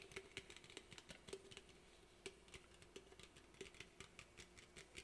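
An aluminum soda can held in both hands is tapped rapidly on its body with fingernails, making a quiet, irregular patter of sharp, bright clicks. Each tap carries a faint metallic tone around 390 Hz that dies away almost at once.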